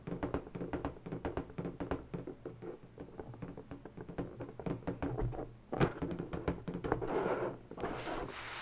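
Fingertips and long natural fingernails rub and scratch across the surface of an inflated pink latex balloon, hollow and air-filled. Quick, dense taps and scrapes give off a low, hollow rubbery resonance. Near the end the sound turns into a brighter, breathy hiss.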